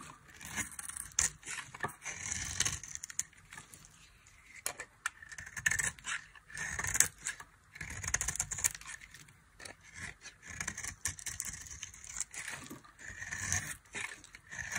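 A dry, solid white soap bar with a blue rim is carved and scraped with a metal knife. Bright, crackly scraping strokes come in bursts with short pauses between them.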